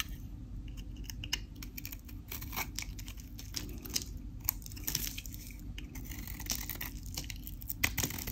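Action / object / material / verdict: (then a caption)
scrape / bar of soap / soap / none. A craft knife blade cuts, scrapes and crumbles a solid, dry white Dalan soap bar with a pink painted edge, and crunchy pieces break off in the hand. Dense, crisp scraping and sharp bright crackles repeat throughout over a steady low rumble.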